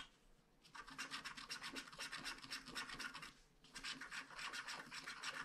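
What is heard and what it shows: A wooden stylus scratches cloud swirls and a star into a flat paper scratch-art card with a black coating. Two bursts of quick, dry, bright scratching strokes, about four per second, are separated by a short pause. The sound is light and rasping with almost no low end.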